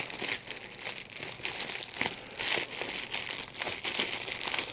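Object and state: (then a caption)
Plastic bubble wrap. A small piece of clear plastic bubble wrap with large, hollow, air-filled bubbles is squeezed and popped between the fingertips and thumbs of both hands. The result is a steady stream of bright, crinkling crackles with short, sharp pops and almost no low end.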